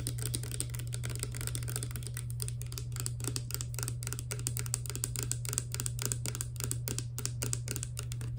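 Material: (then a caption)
Plastic. A clear, hollow plastic Garnier Fructis hair serum pump bottle, partly filled with liquid, is tapped rapidly with long black nails. The result is a steady stream of quick, bright, dry clicks with almost no ring, over a constant low hum.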